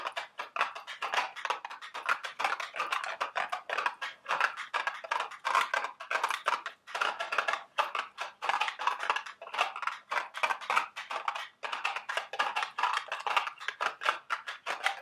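A small, hollow, printed milk-carton-shaped cardboard candy box for Dubble Bubble gum Easter eggs is held in the hands and tapped and scratched with long, sharp acrylic nails. Rapid, dense dry clicks and papery scratches fill the clip, sitting mostly in the mid and bright range with almost no low end. Each tap dies away almost instantly.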